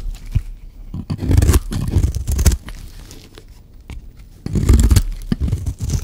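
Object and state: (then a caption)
Dry soap bar being shaved. A metal blade shaves and scrapes a solid, dry white soap bar, producing dry, crunchy, tearing rasps with a bright edge. Two louder passes of scraping stand out, separated by a quieter stretch of lighter shaving.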